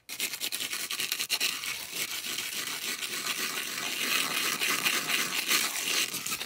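Long acrylic nails rub and scratch the face and edge of a solid, thick, round white polystyrene foam disc. The sound is a continuous, bright rasping and squeaking with fast, uneven strokes that grow slightly louder toward the end.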